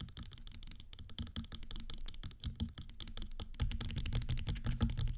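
A single gold metallic platform stiletto stands on a table and is held while long green nails rapidly tap and scratch its hollow platform and straps. Dense, fast clicky taps blend with scratching over a low, hollow thump. The sound grows louder toward the end.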